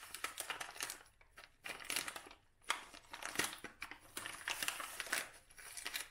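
A dried lavender bouquet in a brown kraft paper cone tied with twine has its paper crumpled and rubbed with the hands. Dense, crisp crinkling comes in irregular bursts with brief quiet gaps, mostly bright with almost no low end.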